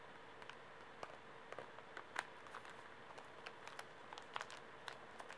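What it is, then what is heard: Plastic-wrapped pocket tissue pack. A full, small Kleenex pocket tissue pack in plastic film is held upright in the hands while fingertips tap and nails scratch the wrapper. About thirteen short, crisp, crinkly ticks and scratches sound quietly and irregularly over a faint steady hiss, each dying away almost instantly.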